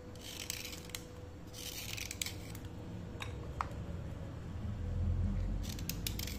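A thin, solid slate pencil held by the fingertips is scraped along its side with a steel utility knife blade. Bursts of bright, dry scratching alternate with sharp little clicks over a steady low rumble, with a faint hum underneath. The scrapes come in quick, uneven clusters and then fall away.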